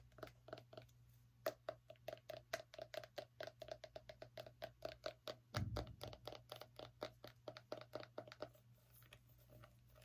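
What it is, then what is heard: Small pumpkin tapped and scratched. Long nails scratch and tap the ribbed rind of a small, whole orange pumpkin held in the hand. A rapid series of short, dry taps with a hollow tone near 640 Hz rides over a steady low hum. A louder, rougher scratch lands just past the midpoint before the tapping continues and fades at the end.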